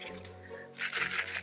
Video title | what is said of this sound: Luffa Sponges, When & How to Harvest #biodegradables #gardening | you can hear the seeds it's uh there's no part of that that's wet